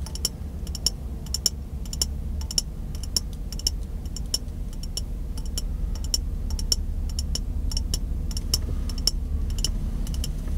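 Fingertips and nails tap and scratch the side and rim of an empty, hollow, clear glass mason jar of medium size held in one hand. Quick, bright, irregular clicks with almost no ring sound over a steady low rumble.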